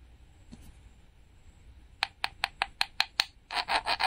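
The metal tip of a pair of tweezers scratches and peels the glitter sticker on a small, flat, solid pink painted wooden toy peach held in the hand. After about two quiet seconds, seven short, bright, dry scratches come in a quick, uneven row, followed by four longer rasping scrapes. There is almost no low end and no ring.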